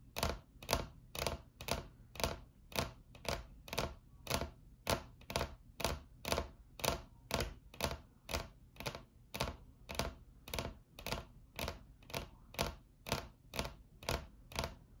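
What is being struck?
Laminate tabletop tapped with acrylic nails.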